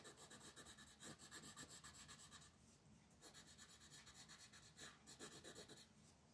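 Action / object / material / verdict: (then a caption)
scrape / wooden colored pencil rubbed on a paper sheet on a table / paper / none. A green wooden colored pencil is rubbed rapidly back and forth across a flat white paper sheet printed with a mandala, resting on a table. It makes quick, bright, rasping coloring strokes at about four per second, in bursts separated by brief, softer pauses.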